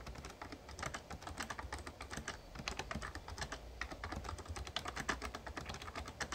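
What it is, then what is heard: Plastic membrane keyboard being typed on. Fingertips type rapidly on the plastic keys of a full-size backlit Razer Ornata Chroma, a plastic membrane gaming keyboard with a hollow case. A dense, steady stream of short, bright clacks runs throughout, each dying away almost at once over a low, soft rumble.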